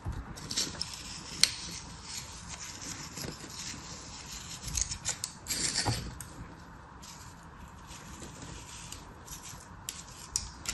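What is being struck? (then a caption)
Kinetic sand in a plastic mold. A metal craft knife slices and scrapes through beige kinetic sand packed solid into a green flower-shaped plastic cutter held in hand. Soft, bright grainy rasping and crunching runs throughout, with a few sharper clicks and a louder scraping stretch near the middle.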